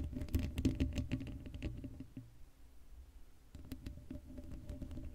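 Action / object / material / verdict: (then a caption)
scrape / woven metal mesh microphone grille / metal mesh / none. Long blue acrylic nails on both hands scratch across the hollow black woven metal mesh grille of a Blue Yeti microphone head with no foam cover. The result is a quick, uneven patter of rough scratches, heavy in the low end with a faint steady tone beneath. The scratching fades to a quieter stretch midway, then picks up again.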